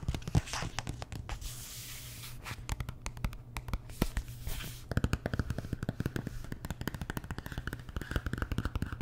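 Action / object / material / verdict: tap / large glossy paperback book / paper / none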